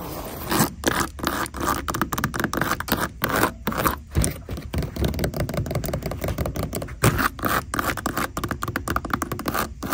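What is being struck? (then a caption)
Glitter-coated fabric ballet flats. Long decorated nails scratch the textured glitter surface of a pair of beige glittery fabric ballet flats resting on a store shelf. The result is a steady run of rapid, dry scraping strokes with brief pauses, mostly low and muffled with little bright sparkle.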